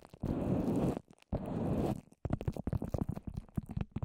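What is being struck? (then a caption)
Papier-mâché and plastic covering over a microphone. A microphone wrapped in plastic and layered with wet white papier-mâché is handled. Two muffled, bass-heavy stretches of rubbing noise come first, followed by long orange nails tapping rapidly on the dome-shaped covered surface in a quick run of dull, damp, low taps with no bright high end.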